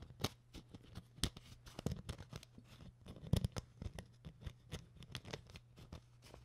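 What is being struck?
Empty thin plastic water bottle tapped and scratched with fingernails.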